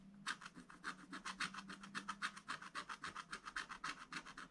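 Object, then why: Scratch-art paper page scraped with a wooden stylus. A wooden stylus scratches and rubs the black coating of a scratch-art paper page in a spiral book, working near the drawn tree and sun. It makes a rapid, steady run of short, dry rasping strokes, about three or four a second, with a bright papery hiss and a faint low hum underneath.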